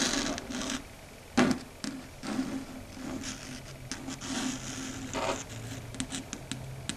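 Long red stiletto nail tips tap rapidly on a flat, solid, dark grey chalkboard surface. Quick, bright clicks mix with dry scratching and rubbing over a steady low tone near 250 Hz. The taps arrive in uneven bursts, with a sharp louder click near the start.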